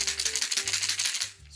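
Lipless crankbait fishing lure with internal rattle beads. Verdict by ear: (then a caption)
Loud. A Great Lakes Agitator lipless crankbait fishing lure is shaken so the rattles inside it knock back and forth. The result is a very loud, bright, dense rattle of rapid clicks through the first 1.3 seconds, then it quiets down.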